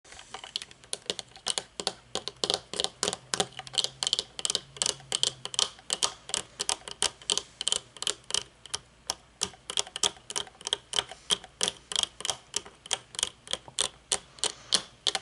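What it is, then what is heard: Sunglasses tapped with fingernails. Long painted nails tap and click on folded aviator sunglasses with a thin metal frame and dark tinted lenses, lying on a wooden table. Roughly sixty sharp, bright clicks come in a steady, quick run, each dying away almost instantly with almost no low-end weight.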